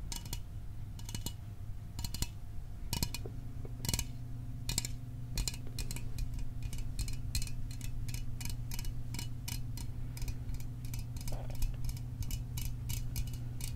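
A small aluminum soda can is tapped for ASMR metal sounds, giving a quick run of short, sharp clicks with bright high-end flicks that die away almost instantly. A steady low hum sits underneath the tapping throughout.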